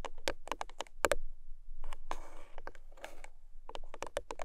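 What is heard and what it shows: Long nails tap quick, dry clicks on the top of a long pink paperboard box standing on its side, then grip its ends with a rough, hissing scratch before tapping again. The taps are short and crisp with almost no ring.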